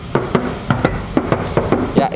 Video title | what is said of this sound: Review Toyota Kiang Innova Simpenan🤨 | ini masih kaleng ya jadi nanti kalau kalian pukul tapi suaranya nyaring itu tandanya kita tambahin peredam ya